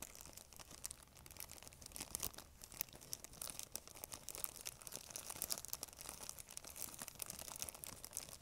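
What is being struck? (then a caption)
Thin plastic bag. An empty, thin, clear transparent plastic bag is held in both hands while long nails scratch and crumple the plastic. The result is a quiet, continuous stream of dense, bright crinkles and crackles with very little low end, with sharper snaps standing out now and then.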